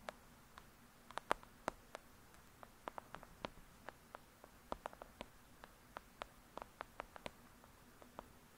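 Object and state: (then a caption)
Paperback book tapped with fingernails. Long acrylic nails tap rapidly on the cover of a thick, solid "Lady Midnight" paperback book lying flat. About thirty quiet, sharp, dry clicks come in irregular bursts, each ending almost instantly, with a bright edge over a faint steady hiss.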